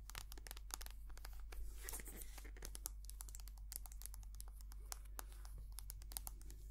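Long nails tap and scratch a white soft plastic cream tube, making a quick, uneven run of sharp, bright clicks and crinkly scrapes. The sounds are quiet and die away almost instantly over a steady low hum.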